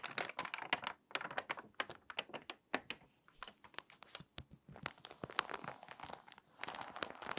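An open, water-damaged glossy paper magazine is handled by long-nailed fingers that flatten the spread, crease the spine, then lift a page edge. Dense, dry crinkling and crackling bursts come close together with brief pauses, bright and thin with almost no low end. The stiff, warped pages give off sharp, papery crunches.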